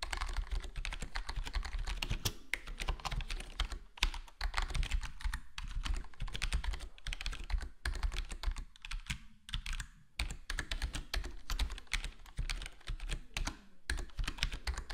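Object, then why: Plastic computer keyboard. A full-size black plastic HyperX Alloy Core gaming keyboard with square plastic keycaps and a foam-dampened case is typed on with the fingertips of both hands. Rapid, continuous soft tapping clicks with short, dry decays sit over a steady low hum, with brief pauses between bursts.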